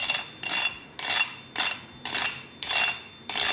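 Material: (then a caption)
Pork skin. Roast pork belly skin, fresh from a second roasting at 205 °C for 15 minutes, is tapped in seven separate bursts, each a bright, hard, crackly clink with almost nothing below 200 Hz. The crisp sound confirms that the skin is very crispy.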